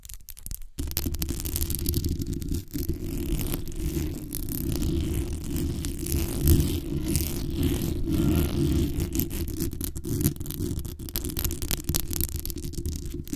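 Long acrylic nails scratch and tap the top and sides of the hollow metal mesh grille on a black condenser microphone. The result is a dense, continuous scratchy rustle with a heavy low-end rumble, broken only by a brief pause near the start. It keeps a steady level throughout, with occasional sharper taps poking through.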